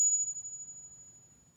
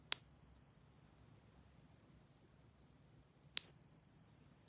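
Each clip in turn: First: A single high ping rings thinly for over a second; the coin is a counterfeit silver dollar. Second: Two bright pings, each ringing clean for about three seconds: a genuine silver dollar.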